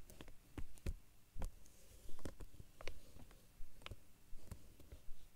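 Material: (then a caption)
Plastic. Fingertips and short nails tap rapidly and scratch across the flat surface of a large, dark, glossy vinyl or plastic binder cover lying over papers. The sound is a series of quiet, dull, low taps with almost no ring, coming at a loose, uneven pace with faint scratching between them.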